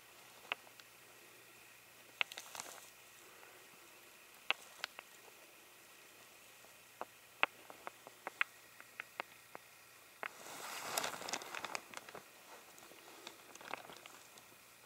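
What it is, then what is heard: Light wooden blocks. A pair of solid, pale, unfinished hand-sized wooden blocks, held in the fingers, are knocked and rubbed against each other. Many sharp, bright, very short clicks come at irregular intervals over a quiet background, with almost no low end. A denser scraping, rustling stretch about two-thirds of the way through comes from the blocks rubbing together.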